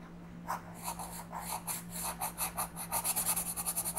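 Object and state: Pencil coloring on a paper page.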